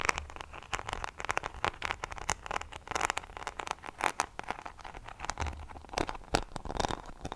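Long painted fingernails scratch and tap the small, solid back of a handheld paddle hairbrush covered in glued-on rhinestones and pearls, with a silver plastic handle, held close to the microphone. Rapid, dense clicks and crackly scratches run throughout, with sharp, dry taps that stop instantly.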